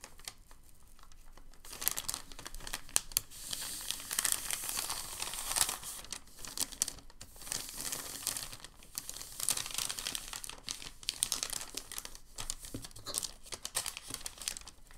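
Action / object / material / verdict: scrape / sheet of packing paper / paper / none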